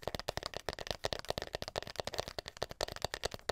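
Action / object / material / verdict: tap / wooden hairbrush back / wood / none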